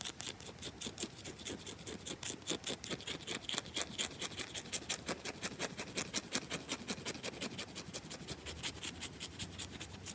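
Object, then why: Bar of soap. Long nails dig into and scratch the scratched top of a round, solid bar of soap in a fast, uneven run of short, dry strokes. Each scrape is a bright, crisp rasp that stops almost instantly, with a soft grainy rustle filling the gaps between them.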